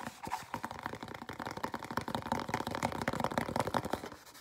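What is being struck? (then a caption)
Small cardboard box. A small, hollow, empty white cardboard dessert box is turned over in the hands while fingernails scratch and tap it inside and out. The result is a dense run of quick, dry scratches and light taps with a papery, hollow midrange tone around 900 Hz. Each sound dies away almost instantly.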